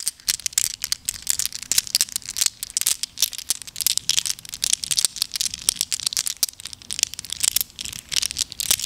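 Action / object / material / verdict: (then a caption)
shake / handful of small glass gems / glass / none. A double handful of small, solid, flat-backed glass gems in blue, green, clear and brown is cupped in both palms, with long acrylic nails, and shaken together over a table scattered with more loose gems. The result is a continuous, bright, high rattle of dense, crisp clinks that stop instantly, with almost no low end. The clinking runs steadily through the whole clip.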